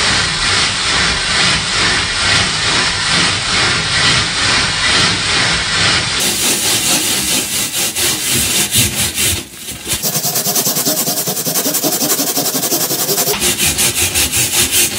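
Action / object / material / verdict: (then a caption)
scrape / perforated metal sheet / metal / none. A purple plastic bristle brush is scrubbed by hand across a flat perforated metal panel, making a steady, bright, scratchy rasp in quick back-and-forth strokes of about two per second. The scrubbing briefly dips around the middle, then resumes with a brighter, more evenly rhythmic texture to the end.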